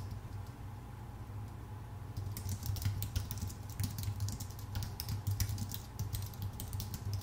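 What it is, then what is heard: Aluminum and plastic computer keyboard being typed on. Both hands type with their fingertips on a full-size white Apple Magic Keyboard with plastic keycaps on a thin aluminum body. After about two seconds of only a low, steady hum, a fast, uneven run of short, bright key clicks begins and continues to the end over the same hum.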